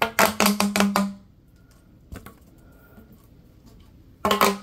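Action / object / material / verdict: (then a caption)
scrape / ribbed plastic tube / plastic / none. Latex-gloved hands bend and stretch a long, yellow, hollow ribbed plastic tube, producing a quick run of sharp, bright ribbed clicks with a short hollow tonal ring. The sound then drops to near silence with a faint crack before another burst of clicking at the end.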